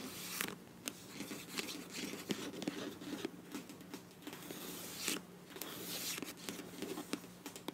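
Long nails scratch and tap the back label side of a filled beige plastic face wash tube with a bronze cap. Soft, dry scratching runs throughout, broken by sharp, bright taps that die away almost at once. A faint steady low hum sits underneath.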